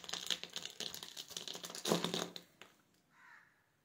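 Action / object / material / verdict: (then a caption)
scrape / soap bar cut with a metal blade / soap / none. A metal utility knife blade scrapes and cuts small cubes off the end of a solid, hand-sized yellow soap bar, pre-scored into a grid and held in one hand, with the cubes crumbling onto a wooden surface. Rapid, crisp, bright crackling and ticking fills the first two and a half seconds, peaking in a loud crunchy burst near the two-second mark. A few faint ticks and a soft, short hiss follow as it fades.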